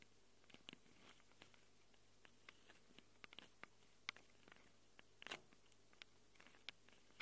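Long glitter nails scratch and tap the metal mic capsule rings of a small black handheld Tascam recorder with metal mic capsules. About twenty quiet, sharp, bright clicks and scratchy ticks are scattered unevenly over a faint, steady low hum. Each tick dies away almost instantly.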